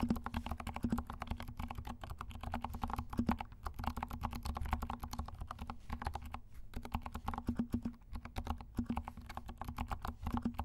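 A compact mechanical keyboard with black and pink plastic keycaps and silent switches is typed on by both hands, the fingertips tapping and pressing the keys. It gives a fast, steady run of soft, muffled clicks with short decay, weighted toward a low thump and a faint tone around 227 Hz.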